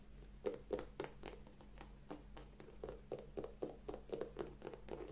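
Long nails scratch and tap along the upper and rubber sole edge of an empty, hand-held white leather sneaker. The result is a quick, uneven run of soft, dry clicks, about four per second, centered near 500 Hz with faint scratchy highs. Each click dies almost instantly over a steady low hum.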